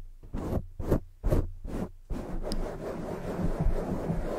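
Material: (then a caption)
Foam. Long jeweled nails slowly scratch and rub a black foam microphone windscreen. Four separate soft, muffled strokes are followed by a steady, continuous rubbing, all dull and low-heavy with almost no brightness.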